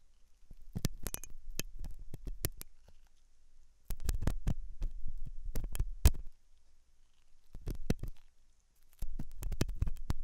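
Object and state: Silicone ear microphone being scraped.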